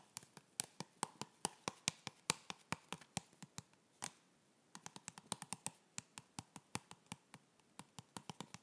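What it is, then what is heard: Cardboard box. Fingertips tap on a hollow, white printed cardboard yoga block box held in the hands, giving about 40 short, dry, bright taps at an uneven pace. The taps have no ring and pause briefly just past the midpoint before continuing.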